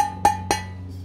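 The base of a Baccarat iD3 Black Platinum stainless steel frypan, a pan that is quite heavy to hold, is tapped twice. Each tap gives a bright metallic ring pitched around 820 Hz that fades quickly, leaving a low steady hum underneath.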